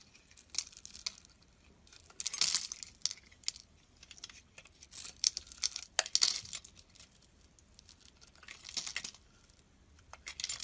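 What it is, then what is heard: Bar of soap being scraped with a blade. A metal blade scrapes thin strips and shavings off the surface of a square, solid white soap bar held in the palm. It makes quiet, dry, crinkly scraping bursts that are bright and high with almost no low end. Short separate strokes are broken up by near-silent pauses.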